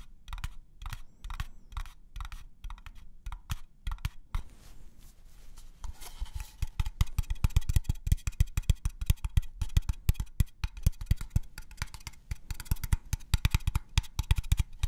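An unfinished wooden craft-store box is tapped on its different sides, which give slightly different tones. Short, dry, low knocks with almost no ring come in a steady rhythm, pause briefly for a soft rustle, then return as faster, denser tapping.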